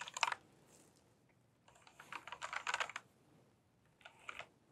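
Fingertips with long painted nails type on a pink plastic tenkeyless mechanical keyboard with tall keycaps. Short bursts of sharp, clacky key clicks arrive in three clusters separated by quiet pauses. Each click is bright and dry with almost no low end, dying away almost instantly.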